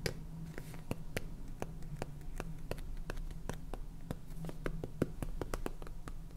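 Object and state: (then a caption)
Plastic salt container. Fingernails tap on the purple plastic lid and body of a small clear plastic jar full of salt, producing a rapid, irregular series of short, sharp clicks. A low, steady hum runs underneath throughout.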